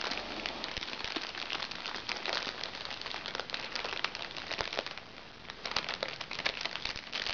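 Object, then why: Small plastic makeup bag. A small crinkly makeup bag made of recycled plastic is scratched by fingernails and squeezed and crumpled in both hands. The result is a steady stream of bright, sharp crinkles and crackles with little low end. The sound dips briefly at about five seconds, then grows busier again.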